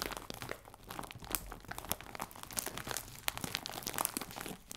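A clear plastic bag full of biscuits is crinkled in the hands, then rubbed with fingertips and nails while lying on the table. Dense, continuous crinkling fills the clip, with sharp, bright crackles and crunchy snaps scattered throughout.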